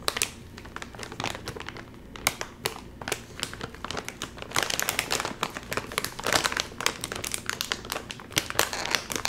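A full, sealed Doritos chip bag made of crinkly metallized plastic film is pinched and pulled at its top seam by fingers. This produces a steady run of bright, sharp crinkles and crackles that have no ring after them. The bag stays sealed throughout.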